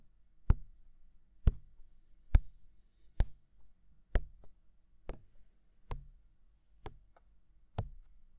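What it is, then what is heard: Silicone microphone ear tapped. Fingertips tap the hollow, mounted white silicone ear of a binaural microphone. Nine soft, dull thumps land at a slow, uneven pace, each a deep muffled knock with a brief bright click on top that dies away almost at once. Faint low rustles fill the quiet gaps between taps.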